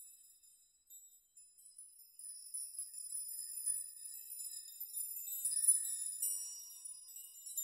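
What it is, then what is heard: Steel nail chime. A steel nail chime made of many long hanging steel nails is rocked by open palms pushing the nails, so they swing and clink together. Soft, bright metallic tinkling and clinking rise and fall irregularly, with only high shimmering tones and short rings.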